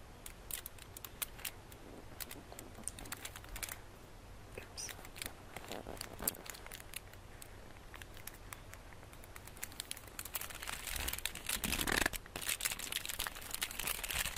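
A solid flat chocolate bar wrapped in wrinkled gold foil is held in the hands while fingertips and nails scratch and crinkle the foil surface. The result is a quiet, uneven run of short, dry, bright crackles and scratches that grows denser and louder toward the end.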